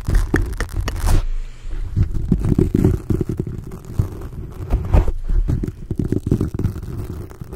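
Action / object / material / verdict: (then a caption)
scrape / foam microphone windscreen / foam / none. Fingers of both hands grip, squeeze and rub a black foam windscreen on a large microphone. The result is a deep, muffled rumbling scratch with dense bursts of crackle and thumps concentrated in the low end, continuing without pause throughout.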